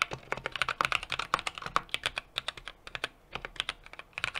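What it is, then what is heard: Mechanical keyboard being typed on. A small 60% mechanical keyboard with an aluminum case, brass plate and plastic keycaps is typed on rapidly with the fingertips of both hands. About thirty sharp, bright clacks with little low end follow one another in quick, uneven bursts. There is a short lull near the three-second mark before the typing picks up again.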